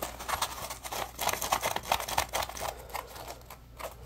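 A dry, solid, porous, yellow-orange puppy-shaped Scrub Daddy polymer foam sponge is bent, squeezed and scratched with fingertips. It makes quick, irregular, bright crackling scratches and squeaky rasps, about three to four per second, each dying away almost at once.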